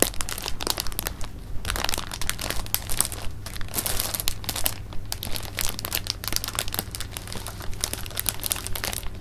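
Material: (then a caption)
Plastic film. A clear plastic bag of jelly beans is held and rolled in the hands while the fingers crinkle the film. The result is dense, continuous crinkling made of short, bright bursts with a steady low hum underneath.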